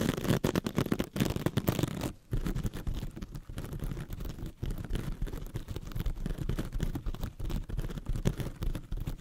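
A hand-sized rectangular sponge covered in glittery metallic scouring mesh, soft and compressible, is held in both hands and scratched with very long red stiletto nails. The result is a dense, continuous run of quick scratching and crinkling strokes, heavy in the low end with little bright content.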